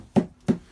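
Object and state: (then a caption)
Plastic toilet bowl, not ceramic. Two dull, hollow thumps on the plastic bowl of a foot-flush RV toilet, struck to check its material. Each thump is short and low-pitched with almost no ring, and the plastic sound shows the bowl is plastic rather than ceramic or porcelain.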